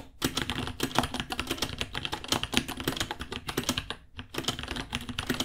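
Fingertips type steadily on a white 66-key mechanical keyboard with plastic keycaps and a hollow case, about 30 cm wide. Quick, bright, clacky keystrokes come in a dense stream with a slight hollow body, pausing briefly just before the four-second mark before resuming.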